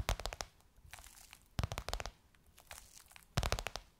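Long nails tap and scratch the surface of a gold crocodile-embossed faux leather pillowcase on a soft cushion. Three bursts of quick, dull taps with bright clicky tops are separated by quieter, crinkly scratching.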